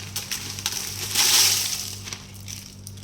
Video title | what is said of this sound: १/२ किलो मिरचीचा वर्ष भर साठवणीचा झणझणीत कांदा लसूण मसाला | मस्त वाळले त्याच्यामुळे माझे खुळखुळ आवाज येतो त्यांचा